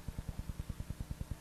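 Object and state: Nothing is struck.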